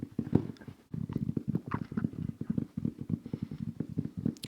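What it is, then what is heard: Game controller carrying case. A plastic zippered Xbox controller carrying case is tapped in a rapid, steady run of dull, low knocks. The knocks are short and dry with almost no ring, broken by one brief pause just before the first second.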